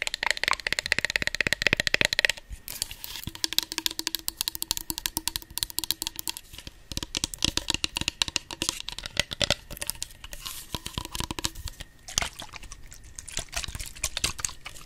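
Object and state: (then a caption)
Plastic spray bottle tapped with nails. Long nails tap rapidly on a tall, hollow, pink patterned plastic body mist bottle and its clear cap while the bottle is held and tilted close to the microphone. The result is a dense stream of bright, dry clicks with a faint hollow ring near 1.9 kHz. The taps are loudest and busiest in the first two seconds, then continue in lighter, uneven bursts.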